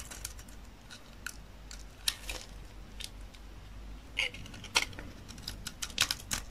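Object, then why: Bar of soap scraped and cut with a knife blade. A utility knife blade repeatedly cuts and scrapes a solid rectangular bar of dry olive-green soap, curling flakes off. Crisp, bright scraping crackles and short snaps come in irregular bursts, centred around 2.5 kHz, over a quiet background. Each one dies away almost instantly.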